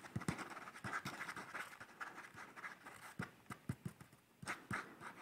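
A pencil sketches on the page of a hard-backed paper sketchbook held upright in one hand, making repeated dry scratching strokes. Short, close strokes with soft low taps come in quick bursts and then quieter stretches.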